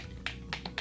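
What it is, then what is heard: Shaken bottle of liquid primer. A bottle of smooth cover liquid makeup primer is shaken so its contents mix, since oil separates out when it sits unshaken. Four short, bright rattling knocks sound against a low steady hum, each stopping almost at once.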